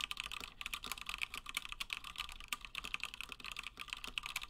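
Fingertips of both hands type continuously on a Gingham 60% plateless mechanical keyboard with Gateron Black switches and cream and blue PBT plastic keycaps. The result is a steady stream of quick, bright, clacky keystrokes that die out almost instantly, centered around 2.6 kHz with very little low end.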